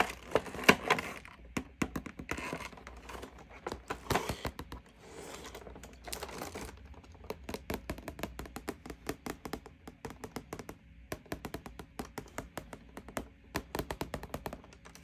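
Long painted nails tap quickly along the side and back face of a hollow printed cardboard toy box with the toy inside. The taps are crisp, dry clicks with a short hollow knock, broken by brief bursts of papery rustling in the first half.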